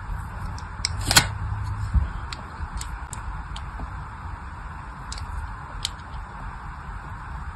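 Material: Soap.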